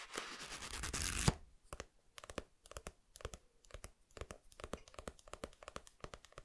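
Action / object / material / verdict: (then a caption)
tap / paperback book, paper with glossy dust jacket / paper / none. Fingertips scratch and tap a small, solid paperback manga, Koe no Katachi volume 2, made of paper with a glossy dust jacket, working on the glossy cover and along the book's edge. A dense, bright scratching rasp for about the first second ends in a sharp accent. It gives way to a steady series of short, dry, close taps, each with a soft low thump and almost no ring.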